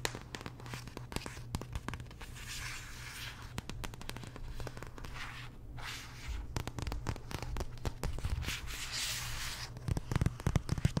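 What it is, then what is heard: Paperback art book. Long nails tap and scratch the cardstock cover and spine of a large glossy paperback art book. Quick, sharp clicks cut through a steady low hum, with brighter scratching swells in between.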